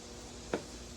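A single knock on the fuel tank of a 1995 Pontiac Firebird Formula gives a short, hollow mid-pitched thud that dies away almost at once over a steady background hiss. The tank sounds empty, matching the fuel gauge reading empty.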